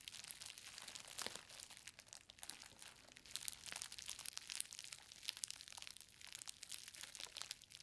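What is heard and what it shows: A green plastic bubble-wrapped book parcel lies on a fabric surface while both hands press and knead it with fingertips and long nails, crushing and popping the bubbles. A dense, bright crinkling runs throughout, broken by sharp, quick pops with almost no low end.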